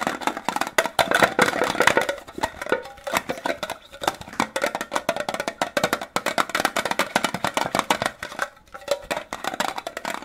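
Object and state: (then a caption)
Metal candy tin. A small, hollow, rectangular green printed metal Disney fruit candy tin, held in both hands, is tapped and scratched quickly with fingertips and short nails. Rapid, dry clicks and scrapes run on continuously with almost no low end and very short ring, centered around 2 kHz with a bright edge.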